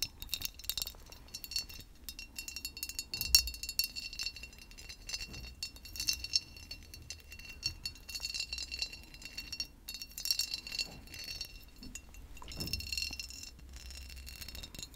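A large, mostly empty hobnail-textured glass decanter with a glass stopper is held in both hands and tapped and scratched with long pink acrylic nails close to the microphone. Dense, crisp, clicky taps and bright scratching clinks run continuously, with a high glassy ring that dies away almost instantly.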